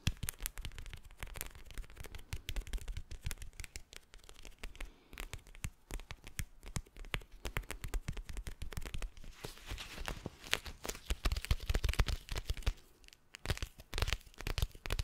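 Fingernails rapidly tap and scratch a hand-sized teal gel bead eye mask with a textured plastic surface. The result is a dense stream of short, dry clicks and thuds with a soft, low body and scratchy crackle between the taps. The tapping grows louder and busier near the end, then briefly drops out before resuming.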